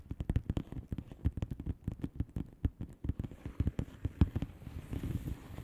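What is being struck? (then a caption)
Plastic bubble wrap envelope. Long painted nails of both hands tap quickly on a flat blue plastic bubble wrap envelope with air-filled bubbles. The result is a rapid, uneven run of soft, dull, low-pitched taps that stop almost instantly, each with a faint crackle.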